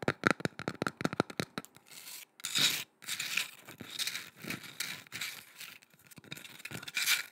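Long red nails scratch and rub across the plain wood side of a curved, solid, carved wooden boomerang-shaped piece painted with swirl patterns. A rapid run of short, bright clicking scratches with a faint ring near 1.4 kHz gives way to longer, hissy rubbing strokes that rise and fall in waves.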